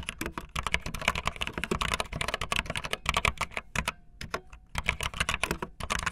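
Fingertips with long nails type fast on a backlit optical linear mechanical keyboard with white and blue plastic keycaps. Dense, bright clicky plastic clacks overlap in a rapid stream, with a brief pause around the four-second mark before the typing resumes. Each keystroke is short and dry, with almost no ring.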